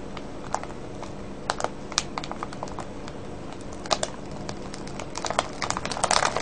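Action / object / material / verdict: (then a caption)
tap / clear plastic bag of wrapped candies / plastic / none. Fingertips and nails crinkle and tap a full, clear plastic cellophane bag of wrapped candies. Sharp, bright crackles and clicks sound over a steady low background hiss, growing denser and louder toward the end.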